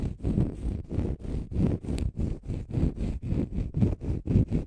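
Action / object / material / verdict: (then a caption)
scrape / konjac sponge puff / konjac sponge / none. A small, flat, oval green konjac sponge, soft, porous and solid, is held in both hands in front of the microphone and scratched with fingernails. About seventeen short, rhythmic scratching strokes come through as dull, muffled, low-heavy rubbing bursts with very little brightness, each stopping quickly between strokes.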